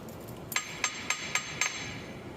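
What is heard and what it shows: Evenly spaced taps land on the cast iron final drive casement of a Case 310G dozer, on the side that has not yet separated, for comparison with the loosened side. Each tap is a short, bright metallic clink with a high ring that dies away quickly. It is the sound of a tight, still-sound casement.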